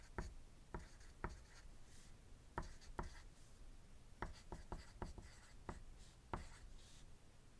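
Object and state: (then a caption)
Pencil writing on paper. A wooden graphite pencil writes on a thin white paper sheet resting on a desk, making twelve short, separate scratching strokes. Each stroke is a brief, dry tap-and-scrape with a soft low thump beneath a faint bright scratch, spaced irregularly over quiet background hiss.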